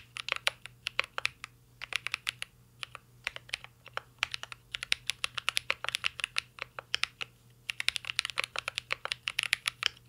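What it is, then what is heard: Mechanical keyboard with plastic keycaps. Fingertips type steadily on a mint-green Cyberboard R3 mechanical keyboard with a metal case and plastic keycaps. The keys give off quick, bright, clacky taps that stop almost instantly. The typing comes in bursts with brief pauses, over a faint low steady hum.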